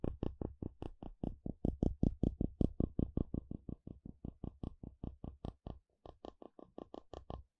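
A curved wooden stick is dragged and flicked across the teeth of a solid blue plastic wide-tooth comb held in hand. It makes a quick train of 38 short, dry clicking scrapes with a low thump around 70 Hz, a faint bright edge, and no ring. A brief pause comes near the end before the last run of clicks.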